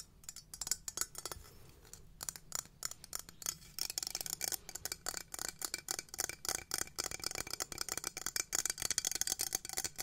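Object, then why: Small textured metal cylinder container. Long nails tap and scratch a small gold-toned textured metal cylinder, hollow and open-ended, held upright in both hands. Rapid, quiet clicks and scrapes come in dense bursts with very short ring, dominated by bright, high, glassy tones and almost no low end.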